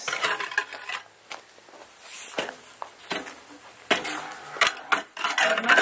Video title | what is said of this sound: Winterberry Farm - Cleaning Out the Inheritance | you notice there's kind of a hollow sound